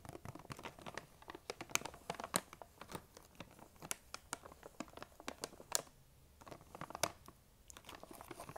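Long nails tap and scratch a large, printed plastic M&M's candy bag that appears full, making crisp, bright crinkling clicks and rustles. The quick taps come in busy bursts, broken by brief quiet pauses.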